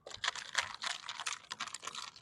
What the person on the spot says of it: Ya Allah, bunyi air batu berkocak-kocak dalam gelas.